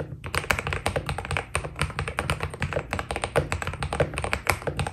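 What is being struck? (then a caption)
Mechanical keyboard with PBT plastic keycaps. Fingertips type steadily on a white Keydous NJ80 mechanical keyboard with PBT plastic keycaps, producing a rapid stream of short, crisp taps and clacks that stop almost instantly. A steady low hum sits underneath the bright key strikes throughout.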